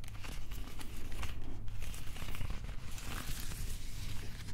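Fingernails and fingertips scratch across the cord-wrap texture of a molded plastic replica prop axe handle. The result is a steady, crinkly scratching with a dense low rumble underneath and quick rustling bursts, with no ring after each stroke.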